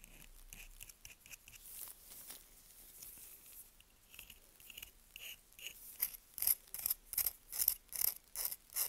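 A dry, solid, pale yellow-green bar of Svoboda "Green Tea" toilet soap, held in a gloved hand, is scraped with the tip of a small curved knife, shedding fine powdery shavings. Quiet, bright, crunchy scratches come first, then build into louder, crisp, rhythmic rasping strokes near the end, with almost no low end and no ring after each stroke.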